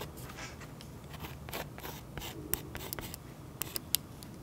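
A fine pen tip scratches curly cloud lines into a thick, waxy oil pastel coating on a sketchbook page resting on a solid flat surface, recorded close up. Soft, steady scratchy rubbing with faint low rumble runs throughout, broken by several sharp, bright ticks in the second half. The overall level stays quiet and each tick dies away almost instantly.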